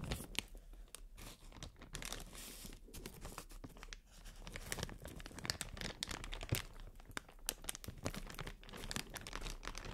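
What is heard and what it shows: Clear inflated plastic air-cushion packaging pillows are held in both hands while long nails crinkle and scratch across them. The result is a quiet, continuous crinkling and crackling with many sharp, bright clicks over a steady low hum.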